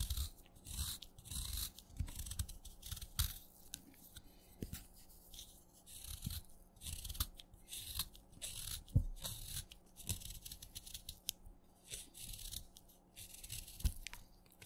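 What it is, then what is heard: Wet chalk stick, cut with a knife. A craft knife cuts crumbly chunks off a solid wet yellow chalk stick held in the fingers. Repeated short, gritty crunches and bright scraping crackles come in bursts, with soft low thuds and quiet pauses between cuts.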